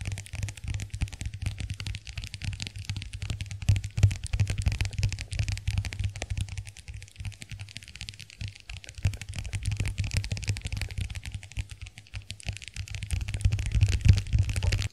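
Long acrylic nails tap the dotted lid and rim of a small, closed white plastic compact hand mirror. The result is a continuous stream of rapid, irregular, short clicky taps with a low thump underneath and a bright clicking edge.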